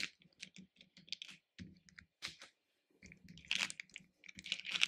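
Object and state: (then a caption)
Hard candy pieces rummaged in a plastic bowl. Fingers rummage and stir through loose hard-shelled candy pieces in a small pink plastic bowl. Quiet, irregular bursts of bright clicking and rattling come in short clusters with brief pauses, growing denser and louder toward the end.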